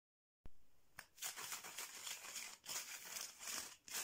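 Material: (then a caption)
Bamboo. Fingernails and fingertips of a hand wearing rings tap and scratch fast across a flat, striped mat of thin painted bamboo or wood slats joined by thread, lying on a surface. After a brief silence, a sharp tap opens a dense stream of bright, crisp scratching and rapid clicking, rising and falling in quick swells.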